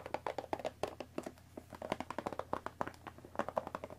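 Long nails tap and scratch the top and front of a hollow Earl Grey cardboard tea box wrapped in cellophane film, resting on a wooden table. The result is a quiet, rapid stream of short, dry clicks with a hollow, papery midrange tone around 600 Hz, mixed with crinkly scratches of the plastic film.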